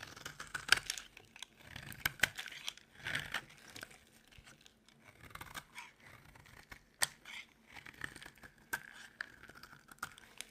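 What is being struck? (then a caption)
Bar of soap. A solid, dry white rectangular soap bar held in the palm is cut and shaved with a utility knife blade. Crisp, bright scraping and crunching strokes come in an irregular run of short bursts. There is no ring after each cut.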